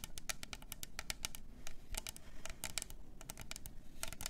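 A tall, hollow, double-walled clear plastic tumbler with pink glitter, a lid and a straw is held in both hands and tapped and scratched with long orange nails. A quick, uneven run of sharp, bright clicks sits over a low, soft rumble, with each tap dying away almost at once.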